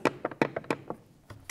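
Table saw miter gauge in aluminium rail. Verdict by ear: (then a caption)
Loose. A plastic-and-aluminium miter gauge, shaken back and forth in its aluminium rail on a cordless table saw (probably an Einhell), gives nine short, dry knocks and clacks with no ring. The gauge is loose and wobbly, moving in that direction too, and cannot be locked.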